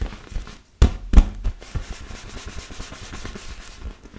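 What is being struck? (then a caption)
Inflated vinyl beach ball. Fingertips and nails rub and scratch across the surface of a large, hollow, inflated yellow and blue PVC vinyl beach ball. A steady, soft, papery rustle runs throughout, broken early on by four dull, low thumps with almost no ring.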